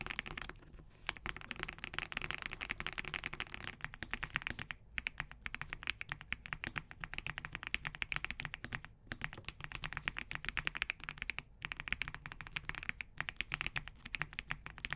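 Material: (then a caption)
Plastic. Fingertips type in a steady, fast stream on an assembled compact Spark67 mechanical keyboard with green-gradient plastic keycaps, Crane switches, a POM plate and a hollow case. Each keystroke gives a crisp, bright, very short tap with little low-end thud, and brief pauses break up the dense run of clacks.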